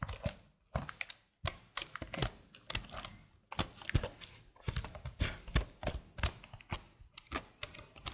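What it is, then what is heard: Plastic computer keyboard. Long blue nails and fingertips type on the keys of a slim black plastic keyboard held flat. Rapid bursts of short, dry clicks and tapping carry a soft low thud beneath bright key clatter, broken by a few brief pauses. Each tap stops almost instantly with no ring.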